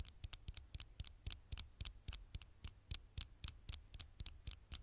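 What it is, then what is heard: Glass smartphone screen. Long fingernails tap and lightly scratch the flat glass screen of a dark smartphone held in one hand. About 21 quick, sharp clicks come at an uneven pace of nearly four per second, each with a bright crisp snap and a dull low thump. Faint scratchy rustles fill the gaps between them.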